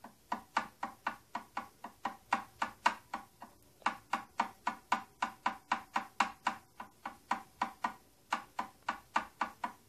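Long painted nails tap and scratch a medium-size, hollow-looking hard plastic tattoo kit box, striking both its silver plastic part and its purple plastic body. About 35 quick, dry, clicky taps come at a fast but uneven pace, each centered around 800 Hz with a bright edge. Each tap dies away almost at once, with faint scratching between them.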